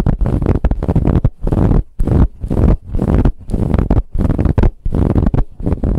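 Long nails scratch vigorously across a soft, brown, ribbed fabric pillow. The result is a series of quick, muffled, rumbling strokes, deep and low with almost no high brightness, separated by short pauses.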